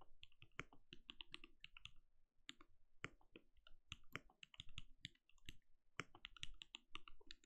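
Fingertips of both hands type rapid key taps on a compact backlit mechanical keyboard with plastic keycaps and a translucent glowing case. It makes a quiet, dense stream of short clicks, each with a deep, muted thud underneath and a bright click on top. The taps die away almost instantly, with a brief pause near the middle before the typing resumes.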